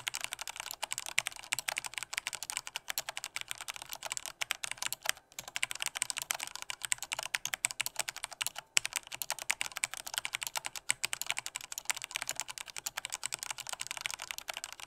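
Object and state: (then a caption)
Plastic mechanical keyboard. Fingertips type with strong force on a black plastic Corsair K68 mechanical keyboard with red switches, producing a rapid, continuous stream of sharp, bright key clacks. Each click is dry and dies away instantly with almost no low end, and there are brief pauses near 5 and 9 seconds.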